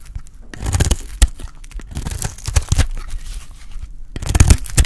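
A metal utility blade shaves a solid, dry, oval red bar of soap held in the hand. It makes a run of crumbly, crackling scrapes and tearing cuts with bright, crisp edges over soft, low thuds. The cuts come in bursts that swell and fade across the clip.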